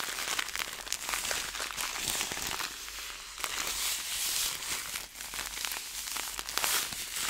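A clear plastic zipper bag filled with small seeds is squeezed between fingers, then held by a corner and dangled so the seeds shift inside. The plastic gives a steady, bright crinkling and crackling with quick sharp ticks and almost no low end, swelling and easing throughout.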